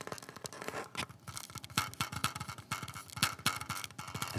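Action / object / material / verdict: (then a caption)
tap / polymer pistol magazine / polymer / none. A small, hollow black polymer pistol magazine, apparently empty, is held in both hands and tapped and scratched with the fingertips. Quick, irregular dry taps mix with a scratchy, hissing texture. Each tap dies away almost at once, leaving a faint hollow tone around 1.3 kHz.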